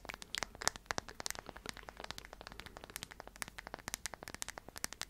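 Long nails tap and scratch the flat surface of a small, solid, round slice of light wood with visible growth rings, held in the hands. A quick, uneven stream of sharp, dry clicks and faint scratching rustles sounds quiet and bright, with each tap stopping almost instantly.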